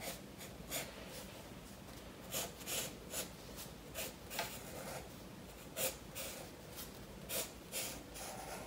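A blue graphite pencil shades and strokes a koi fish drawing on a spiral-bound paper sketchbook lying flat on a wooden table, one hand holding the book steady. The result is soft, bright scratching and rubbing in short, irregular strokes over a quiet steady hiss.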